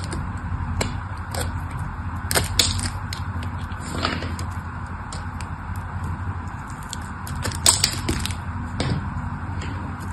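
A craft knife scrapes and carves pieces off the edge of a solid mauve bar of soap held in the hand. Sharp, bright clicks and crisp scraping snaps come and go over a steady low rumble, with a few louder cracks standing out.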